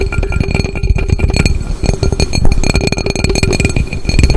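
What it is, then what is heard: Aluminum cooking pot. An upside-down hollow aluminum cooking pot has its base and sides tapped rapidly with fingertips and nails. The result is a dense, continuous patter of dull, low thuds over faint, steady metallic ringing tones. Each tap dies away almost instantly.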